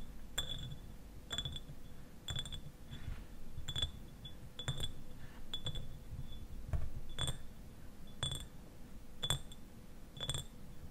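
Fingernails of both hands tap the sides of a clear, medium-size glass eyewash bottle, standing upright and partly filled with liquid. Each tap is a sharp, bright tick with a brief glassy ring that dies away almost at once. The taps come in a steady, unhurried series over a low, muffled background.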